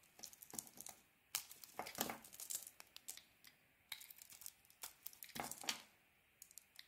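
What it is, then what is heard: Bar of soap being shaved. A hand-sized solid bar of soap with a red coating and a white core, held in a hand with long painted nails, is shaved with a metal utility-knife blade, piling carved strips up as flakes. Quiet, bright, crisp scraping and crackling shaves come in irregular bursts with short pauses between them, with almost no low end.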